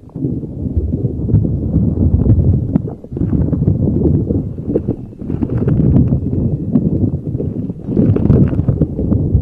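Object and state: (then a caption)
Rubber spiky ball rubbed over a microphone. A neon green soft rubber spiky puffer ball is placed over a microphone and rubbed and squeezed with fingers. It makes dense, muffled rustling and bumping that is mostly low and thick, with quick crackly ticks, building in several bursts with brief dips between.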